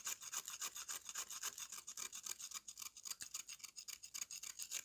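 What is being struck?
Slab of mud scraped with a metal knife.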